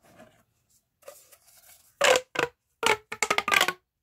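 A hollow pink corrugated plastic pop tube, about 30 cm long, is held in both hands with the fingertips and stretched and bent so its ridges click. Faint, soft crinkling gives way to louder, bright bursts of rapid clicking and rasping in short, dry clusters with no ring.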